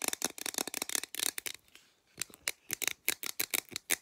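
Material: Aluminum.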